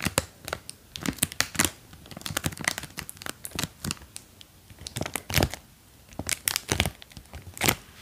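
A small clear plastic film bag with a white label, holding two green silicone ears, is held in one hand while long dark painted nails press and crinkle it. It produces a steady run of sharp, bright crinkles and crackles that stop dead with no ring, with a few louder bursts between quieter rustling. The contents may add a soft squish underneath.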